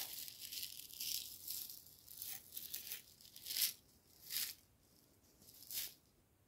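A medium clear jar, likely plastic, with a black screw lid and labelled Green Jasmine Tea, nearly full of dry loose tea leaves, is held in one hand and shaken and tilted. The leaves rattle inside in bright, hissy bursts with almost no low end. The rattles swell and fade, ending in quieter, separate shakes.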